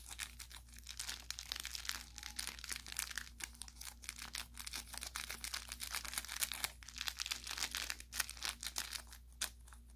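An orange velour plush carrot cat toy with crinkle filling and a fabric tag is squeezed and pressed with the thumb and fingers. It gives off a steady run of bright, dense crinkling and crackling with short, sharp pops and no ring. A faint low hum sits underneath.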